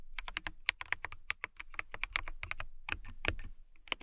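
Long nails type quickly on a clear acrylic mechanical keyboard with transparent acrylic keys and clear keycaps. About 23 short, sharp clicks sound out, bright with a peak near 2.2 kHz, over a light low thud. Each click stops almost at once, with no ring.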